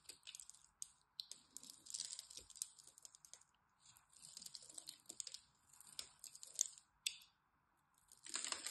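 A metal craft blade scores and carves the surface of a solid green bar of dry soap held in the hand, while other soap bars sit nearby untouched. Bursts of dry, crisp, high-pitched scratching and crackling come in short clusters separated by brief quiet gaps. A louder, denser scrape closes the clip.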